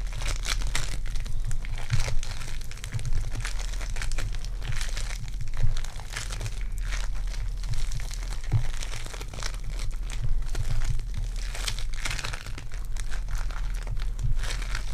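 A handful-sized lump of soft, solid lavender sticky foam clay (polystyrene bead clay) is squeezed, kneaded and pulled apart by fingertips with long dark painted nails, while dried leaves on the table stay untouched. The clay gives a steady stream of dense, bright crinkling and crunching over a constant low hum, with short bursts that swell and fade throughout.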